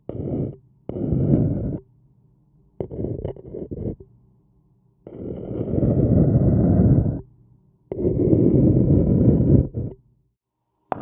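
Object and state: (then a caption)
Paper cup scratched. A thin wooden stick scratches the rim of a hollow, printed white paper cup that appears empty. It produces rough, low, muffled scraping in separate bursts of varying length, some short and choppy and others long and steady, with quiet gaps between them.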